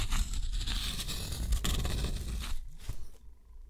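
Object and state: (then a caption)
Steel pen nib scratching textured watercolor paper. A steel dip-pen nib draws wavy lines and small marks on a thick, rough white textured watercolor paper sheet, scratching the surface. Dry, bright scraping strokes sit over a steady low rumble, with short bursts of grainy scratching. The sound thins out and turns quieter toward the end.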